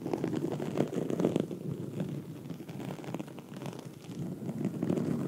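Long red nails scratch a black foam microphone windscreen, producing a dense, muffled scratching rustle centered in the low mids. Louder bursts come early, the sound eases into a steady rasp mid-clip, and it swells again toward the end.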